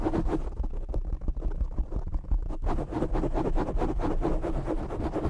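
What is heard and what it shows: Fingertips and short nails of both hands scratch and grip the black foam windscreen covering a desktop microphone. The result is a dense, continuous, close-up rustling and scratching with a heavy low rumble. The texture briefly thins just before the midpoint, then returns at full intensity.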